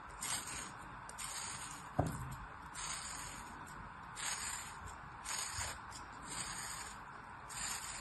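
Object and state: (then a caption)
Kinetic sand figure being cut. A black-handled metal blade scores parallel cuts across a hand-sized, solid molded kinetic sand animal figure resting on an open palm, then scrapes through the sand. Soft, gritty scraping strokes with a bright, sandy hiss rise and fall over a low, steady background, with one sharp tick near the two-second mark.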